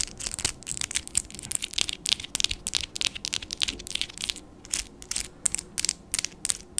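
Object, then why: Acrylic fingernails. Long black-and-white patterned acrylic nails tap and click against each other and against hard plastic nail tips above a microphone. The result is a rapid, uneven run of sharp, dry, high-pitched clicks with no ring and only a faint low background.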